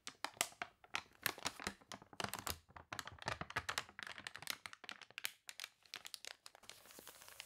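Long nails scratch and rub the wavy pages of a water-warped paper toy catalog, making a rapid run of dry, bright crinkles and crunches with almost no ring. Near the end a page is turned with a soft, steady rustle.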